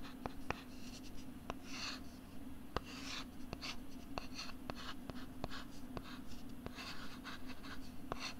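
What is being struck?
Thin plastic LCD writing tablet.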